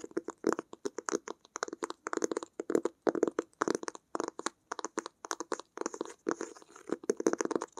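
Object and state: Fabric-covered hardcover sketchbook.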